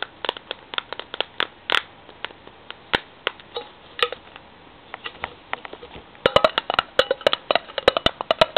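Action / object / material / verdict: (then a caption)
tap / metal tin / metal / none. A metal tin is tapped in a quick, uneven run of about forty short, dry clicks with almost no ring, centered in the mid and upper-mid range. The taps grow louder and denser in the last few seconds.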